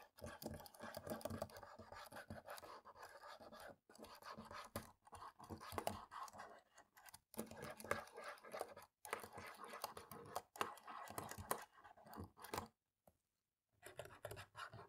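A cotton swab scrubs between the black plastic keys of a laptop keyboard, making a continuous dry scratching and rubbing with soft clicky ticks. The scrubbing comes in bursts separated by brief silent pauses.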